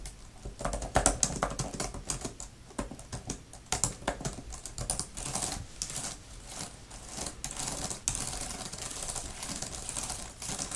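Long-nailed fingertips type fast on a grey, thin plastic laptop type-cover keyboard with flat plastic keys. The result is a dense, steady stream of short, bright, clicky taps with a faint low thump beneath them and almost no ring after each tap.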